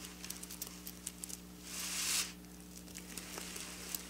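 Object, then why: Sequin fabric scratched with fingernails. Long black nails scratch along silver sequin fabric with both hands, making a series of sharp, bright clicks and ticks. A louder, sustained, hissing scrape swells in the middle before the light clicking resumes, all over a steady low hum.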